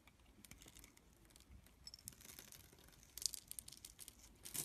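A green and white striped solid bar of soap, held in the hand, has its face cut into a grid with a metal blade, and the small cubes crumble and flake off. Quiet, bright, crisp scratching and crackling comes in short bursts with almost no low end, growing a little louder toward the end.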